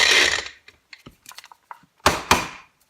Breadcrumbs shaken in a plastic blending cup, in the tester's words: I can hear some big chunks still.